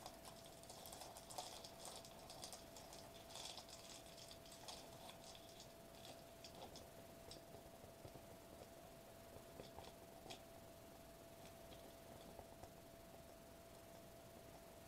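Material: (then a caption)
Foil, plastic. A foil-laminated plastic bubble wrap sheet is held upright in both hands while fingertips tap and scratch the foil bubbles. The result is a quiet, steady stream of soft, bright crinkly taps and scratchy rustles, with a faint constant tone near 730 Hz running underneath throughout.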